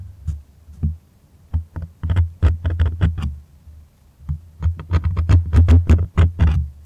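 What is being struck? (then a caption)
Stretched cotton canvas on a wooden frame. A white stretched cotton art canvas on a wooden frame is held upright while fingertips and nails scratch and tap near its top edge, the taut, hollow-backed fabric face acting like a drum. Soft, low, boomy thumps around 86 Hz come in uneven bursts with quiet gaps, some carrying a faint bright scratchy edge, and each dies away quickly.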